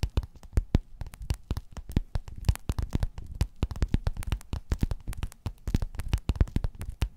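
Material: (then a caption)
Faux leather. Long nails tap and scratch a flat, padded, gold metallic quilted faux-leather cover. A rapid, uneven series of short, dull, muffled taps with almost no ring, heavy in low end with very little brightness, over faint soft scratching.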